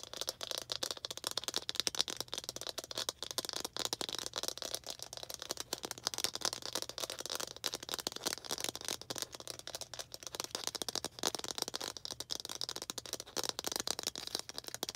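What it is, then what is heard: Plastic toy ball. A small hollow red plastic toy ball with baseball-style stitching, held in both hands, is tapped and scratched with long green acrylic nails. The result is a fast, continuous stream of dry, bright clicks and scratchy rattles with almost no low end and no ring.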